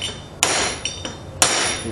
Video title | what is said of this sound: TRAILER REPS 003 | You can hear the difference. Hear that metallic sound. She's now seated. Yep, fully seated.